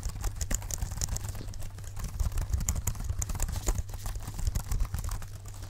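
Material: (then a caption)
Plastic. Gloved fingertips in black leather tap repeatedly on the keys of a small, dark, hollow plastic folding keyboard held up close to the microphones, as if typing. A fast, uneven stream of light, bright plastic clicks and taps rides over a steady low hum throughout.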